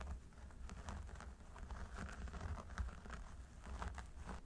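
Fingertips and nails of both hands scratch the scalp of a mannequin training head through its long blonde synthetic hair at the parting. Soft, scratchy, crinkling strokes come in quick repeated bursts over a low, steady rumble, quiet throughout.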